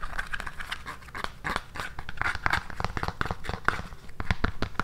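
Long nails scratch and tap the tan, hard synthetic sole and heel of an empty black high-heel pump held in the hand. The result is a steady stream of quick, dry clicks mixed with raspy scratching, each tap dying away almost instantly.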